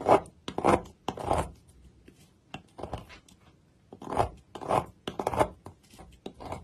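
Thin slices are snipped off the end of a solid oval gold-colored Dalan bar soap with a yellow interior, lying on a mat, using scissors, with shreds piling up beside it. Each cut makes a crisp, rasping crunch with a bright edge, arriving in uneven bursts separated by short quiet gaps.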